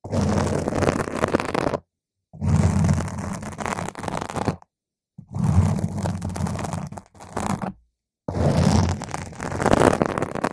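Long pointed green acrylic nails tap and scratch a purple spherical foam windscreen on a microphone. The result is dense, muffled, bass-heavy rustling and scraping that comes in several long bursts separated by brief silences.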